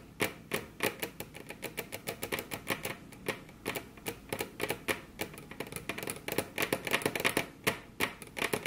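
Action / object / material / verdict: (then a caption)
tap / wooden tabletop / wood / none. Very long curved fingernails on both hands tap their tips against a flat, solid, glossy dark-brown wood-grain table top. The result is a rapid, uneven stream of sharp, bright clicks, each dying away almost instantly, with little low-end body.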